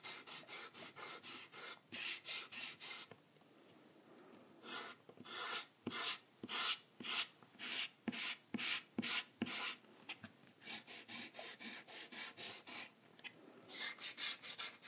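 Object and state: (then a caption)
Eraser rubbed on sketchbook paper. A small white rubber eraser, held in the fingertips of a hand with long red-painted nails, rubs back and forth across a flat spiral-bound paper sketchbook page bearing a drawn ink spiral. Around thirty quick, bright, raspy strokes come in rhythmic bursts, with a short quiet pause near the start. At the end, the eraser is lifted off the paper.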